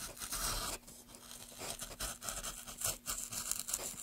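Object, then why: Softwood board. A gloved hand pushes a small gouge along the grain of a solid pale softwood board, scraping and cutting the wood. The result is a run of bright, dry, crunchy scraping strokes with a faint low hum underneath.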